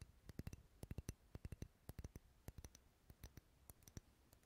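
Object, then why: Wax pillar candle. Fingernails tap the side of a lit, dark red solid wax pillar candle held close to the mic. Many quick, uneven taps come in small clusters, each a short, dry click with a soft low thump and a bright tick on top. Every tap dies away almost instantly over a quiet background.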